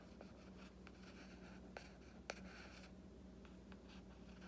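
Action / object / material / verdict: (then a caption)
scrape / hardcover book with printed board cover / cardboard / none. A fingernail and fingertip scratch and trace along the drawing on the printed board cover of a solid hardcover book. The result is quiet, soft, dry scraping with brighter scratchy streaks. A couple of sharper ticks stand out over a steady low hum.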